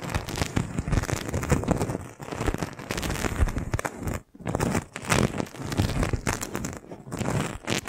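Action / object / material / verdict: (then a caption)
scrape / thin plastic balloon bubble / plastic / none. A hand with long nails presses and rubs a clear, thin, hollow, fist-sized plastic magic balloon bubble resting on top of a microphone, using the palm and fingertips. The result is a dense, continuous stream of close crackling and crinkling with a heavy low-end rumble and a faint bright edge. The sound drops out briefly just past the halfway point, then resumes.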